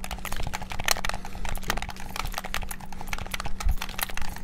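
Fingertips rapidly tap the buttons of a white and black hollow plastic PS5-style gamepad, producing a dense stream of short, dry, bright clicks. The clicks vary in loudness and die away almost instantly, over a faint low hum throughout.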